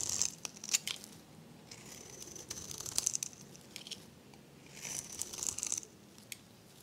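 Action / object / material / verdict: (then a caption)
scrape / soap bar shaved with a metal blade / soap / none. A metal blade shaves curls off the face of a dry, varnished, pale green soap bar with a blue edge, held in the hand. The sound is a quiet, bright, crisp scraping and crackling that comes in bursts with short pauses between strokes, with very little low end.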